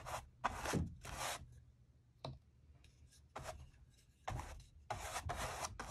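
A wide bristle brush with a wooden handle is stroked across the textured surface of a large acrylic-painted stretched canvas lying on a table by a window, spreading white matte varnish. Each stroke makes a bright, scratchy rubbing burst with a low thump underneath, separated by short quiet pauses.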